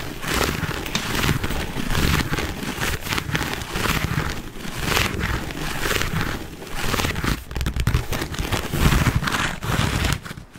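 A black quilted leather handbag held close to the mic is scratched and rubbed with fingernails. The result is a steady, dense run of crackly scraping with a heavy low rumble from the close contact and a bright, papery texture on top, with small swells and dips as the rubbing shifts.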